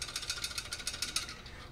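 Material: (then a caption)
Metal. A magnetron pulled from a microwave that is not heating is shaken, and broken magnet pieces loose inside rattle in a quick run of bright, sharp clicks. The rattle marks it as damaged and the suspected cause of the microwave not heating; an intact magnetron makes no such sound.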